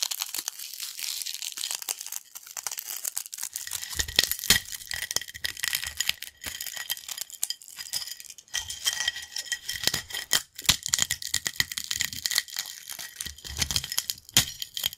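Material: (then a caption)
Corn snack. Fingers crush whole and broken hollow yellow crunchy corn snack chips into smaller pieces on a black plate. A dense stream of bright, crisp crackling and crunching snaps runs throughout, with occasional fuller, heavier crunches as pieces break apart.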